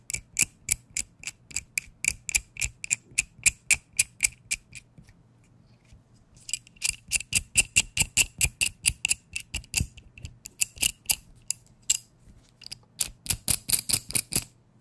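A small metal adjustable wrench has its adjuster turned while its head is tapped with a fingertip. The result is a quick run of about 49 sharp, bright metallic ticks with very little ring, grouped in bursts with a pause around five to six seconds and a brief gap near twelve seconds.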